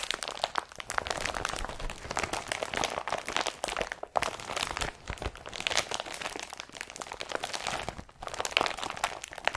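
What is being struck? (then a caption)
Woven polypropylene carrier bag. An empty blue woven polypropylene IKEA BRATTBY carrier bag is crumpled by hand near the straps, fingers pulling its folds. A steady, bright crinkling and crunching runs throughout, with brief pauses near 4, 5 and 8 seconds.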